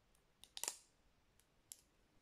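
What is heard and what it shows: Long nails tap and click on the brown plastic lid and the side of a small cylindrical plastic spice shaker jar filled with ground spice. A few short, bright, high-pitched clicks come close together, then one more after a pause, each dying away almost at once over a faint hiss.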